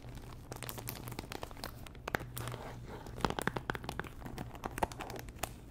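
Long nails scratch and tap a small pink Chanel cardboard perfume box, likely still in its cellophane wrap and hollow. Crinkly, papery scratching runs throughout, broken by many sharp, bright clicks of nail taps. A steady low hum sits underneath.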